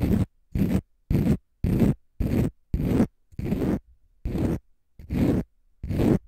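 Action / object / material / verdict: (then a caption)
scrape / konjac fiber facial sponge / konjac fiber / none. Fingernails scratch a palm-sized, pale green konjac fiber facial sponge, solid and porous, in ten separate strokes with short silent gaps between them. Each stroke is a dry, rough, low-heavy scrape that stops cleanly with no ring.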